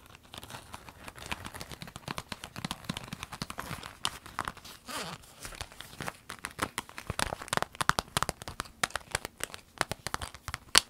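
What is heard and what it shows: Long nails tap and scratch a small, empty, clear orange vinyl zip pencil case while hands flex it. The result is a dense run of quick, dry taps, scratchy scrapes and crinkly crackles, bright and crisp, with little low end and no ring after each hit.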